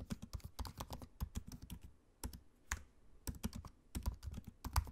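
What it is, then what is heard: Laptop keyboard typing. Steady fingertip typing with both hands on a laptop keyboard with plastic keycaps in an aluminium chassis, heard close up. Quick, dry clicks come in bursts, with short pauses between runs of keystrokes.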